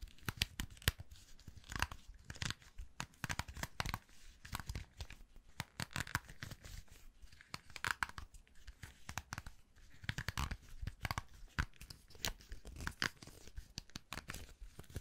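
A round hair brush with stiff black plastic bristles on a hollow metal barrel has its bristles brushed across and flicked with a palm and fingertips. The result is a dense run of quick, dry crackling and scratchy ticks that spread from low thuds up to a bright, airy edge. The ticks cluster in uneven bursts throughout and die away almost instantly.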